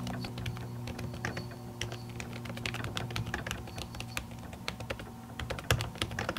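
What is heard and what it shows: Long natural nails type on an aluminium laptop keyboard whose plastic keys sit under a printed silicone skin. The result is a fast, uneven stream of soft, muted clicks with short bright ticks, over a steady low hum.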